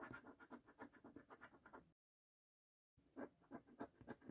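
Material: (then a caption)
Paper. A coin scratches off the middle and right panels of a thin paper £2 Gold lottery scratchcard held by the fingertips on a dark wooden table. Quick, repeated rasping strokes are heard, then about a second of silence, then more scratching strokes.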